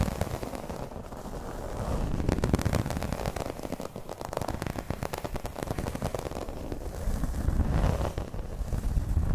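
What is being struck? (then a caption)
Embossed vinyl placemat. Long red nails scratch across the pattern of a flat, round, dark green embossed placemat, probably vinyl. The result is a dense, rough, crackling scrape with a heavy low rumble and a fast, uneven rhythm, swelling louder around the middle and again near the end.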